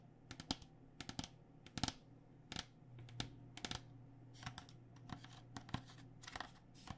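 Long nails tap the outer plastic shell of a white cycling helmet, held sideways, with the hollow shell sitting over foam. The taps come as quick, irregular clicks, sometimes in bursts and clusters. Each is sharp, bright and dry with almost no ring, over a faint, steady low hum.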